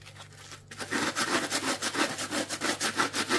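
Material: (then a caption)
Plastic. A dry, palm-sized, strawberry-shaped kitchen sponge, with a pink coarse plastic scouring layer on a yellow foam base, is held in one hand. The yellow foam side is shown first, then fingertips scratch the pink scrubby layer. After a near-silent opening, nine rhythmic, bright, raspy scratching strokes follow at about three per second.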